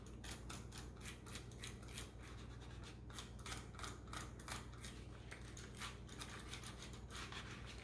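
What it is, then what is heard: Plastic computer mouse being wiped. A small, hollow pink and black plastic computer mouse, held above a closed laptop, is rubbed and wiped with a white wipe by hands in green rubber gloves. Quick, uneven scratchy swipes of bright, hissy friction repeat about three times a second over a steady low hum.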